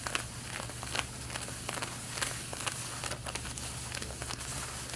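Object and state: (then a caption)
Denim jeans being scratched. Long red-painted nails scratch the front waistband of worn light blue denim jeans, producing quiet, irregular bright rasping strokes. The scratches come at an uneven pace over a steady low hum.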